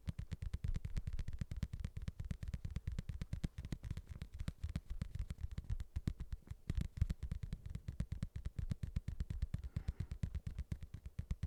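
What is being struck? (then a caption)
Padded leather boxing glove. A padded boxing glove is tapped rapidly and steadily for the whole stretch. Each tap is a soft, dull, low thud that dies away almost instantly, with nearly all its energy at the bottom end and nothing bright above it.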